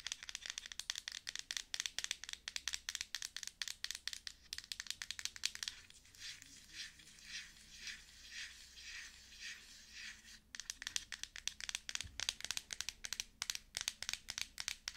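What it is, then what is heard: Glass cream jar, lid tapped and scratched with nails. Long nails tap quickly on the gold lid of a L'Oreal glass cream jar held on the palm, making dense, bright, sharp clicks. Midway the tapping gives way to softer, rhythmic scratching across the lid, then the fast tapping returns. Each click is crisp and dies away almost instantly.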